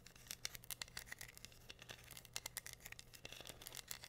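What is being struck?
Wooden board covered in rhinestones.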